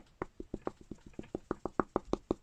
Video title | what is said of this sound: Comparing The Rip off Kidrobot To DinoToys South Park Plush | you can hear that has a hard bottom to it